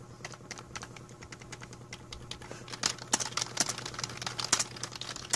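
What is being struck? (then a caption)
Plastic membrane computer keyboard. Fingertips of both hands type on a full-size black plastic A4Tech membrane keyboard with a hollow plastic body, resting on a blue mat. A quick, uneven run of short, bright, clacky key taps dies away almost instantly. The taps grow louder and denser in the second half, over a faint steady low hum.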